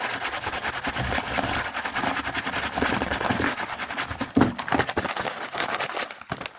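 Fingertips of both hands rapidly tap and scratch the front of a small printed cardboard Hanuta snack box, first lying mostly flat on a table and then held. A dense, continuous stream of dry, papery taps and scratchy rustles fills the clip, with a few sharper louder taps near the end before it thins out.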